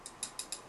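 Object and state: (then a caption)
Hollow carbon fiber tripod leg. Four light fingernail taps on the hollow carbon fiber leg tube of a DiC&MiC P303C (now INNOREL RT75C) 175 cm tripod, whose legs have a smooth stripe-pattern finish. Each tap is a short, bright click with a faintly hollow ring that fades within about a tenth of a second, showing the tube is hollow and, as expected, without defects.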